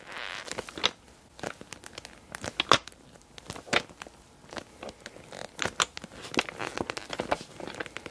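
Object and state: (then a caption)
Clear PVC cosmetic bag full of glass nail polish bottles. A small clear PVC cosmetic bag with pink trim, full of glass nail polish bottles, is gripped and squeezed at its sides by fingers with long dark nails. It makes bright, dry plastic crinkles and crackles in short bursts, with the bottles shifting and clinking inside. There is almost no low end.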